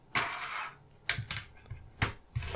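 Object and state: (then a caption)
Plastic CD jewel case. A plastic CD jewel case holding a red CD is tapped five times, giving short, bright clicky taps with a brief hollow tail that fades quickly.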